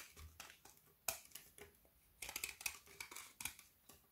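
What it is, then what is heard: Frozen milk chocolate bar. A kitchen knife repeatedly scrapes along the edge of a solid frozen Figaro milk chocolate bar with hazelnut filling, held upright in one hand, shaving brittle chocolate curls that pile on a wooden table. Thirteen short, crisp, bright scrapes and crackles are heard, each dying away almost instantly, with very little low end.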